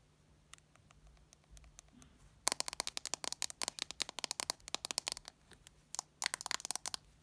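A white Samsung smartphone with a plastic back and glass screen, solid and small, rests on a shag carpet while its screen and back are tapped and scratched with fingertips and long red nails. A few sparse, quiet clicks give way to rapid, bright, dry taps that stop instantly with no ring, pausing briefly before a final quick burst.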